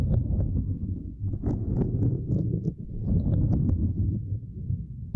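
Two index fingers with long nails tap and scratch a small, flat, purple silicone grid mat resting across a microphone. The result is a dense, muffled low rumble of soft thumps, broken by brief, bright nail clicks and scratchy flicks at an uneven pace.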